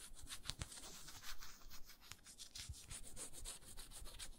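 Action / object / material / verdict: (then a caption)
scrape / frosted glass jar with a wooden lid / glass, wood / none. Long nails rub and scratch the round wooden lid and the frosted glass body of a small moisturizer jar. The quiet, dry scraping comes in short repeated strokes with bright hiss and a soft low thump under each pass, with no ring after.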